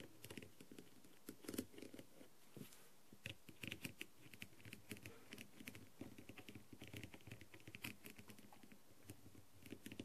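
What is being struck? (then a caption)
Plastic masquerade mask with rhinestones. The clear tip of a green light-up tool taps rapidly over the gold rhinestone edge and blue stones of a hollow, blue-and-gold rhinestone-covered plastic masquerade mask resting on a tray. The result is a quiet, dense patter of light, dry clicks, like soft typing, with brief bright ticks over a low hollow body.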